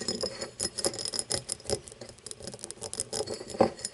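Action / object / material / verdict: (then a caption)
tap / cut glass tumbler / glass / none. Long nails tap and scratch the side and star-cut base of an empty, hollow cut-crystal tumbler lying on its side. Quick, bright glassy clicks and light scraping patter along, with a faint hollow tone near 540 Hz that dies away almost at once.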